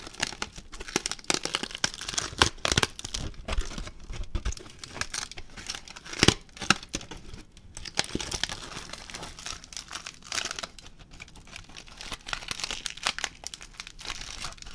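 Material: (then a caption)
Aluminium foil. A ball of crumpled aluminium foil is crinkled and moved by hand, giving a continuous stream of dense, bright crackling and crinkling with a faint low rumble underneath. Sharper, louder bursts stand out around 2.5 and 6.3 seconds, and the crinkling continues steadily to the end.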